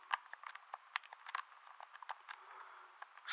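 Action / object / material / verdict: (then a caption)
tap / plastic handheld game controller / plastic / none. Thumbs and fingertips repeatedly press and tap the buttons of a hollow, handheld blue plastic game controller close to the microphone. It makes a quick, irregular run of short, dry clicks and taps, centered around 1 kHz with no low end and some brighter, crisp edges. Each click stops almost at once, leaving a faint, soft background hiss between them.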